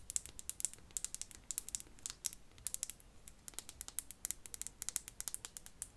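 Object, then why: Glass perfume bottle. Fingernails rapidly tap a perfume bottle, producing a quick, irregular patter of small, bright clicks with almost no ring. The taps are quiet and crisp, concentrated in the high frequencies.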